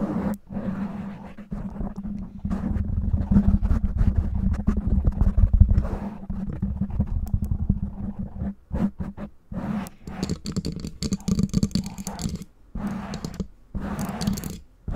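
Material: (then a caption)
Foam. Long nail tips tap and scratch rapidly on a black foam windscreen covering a microphone. The result is dense, muffled, low thumping and rustling with a steady low hum underneath, in irregular bursts broken by brief pauses, and some brighter scratchy bursts toward the end.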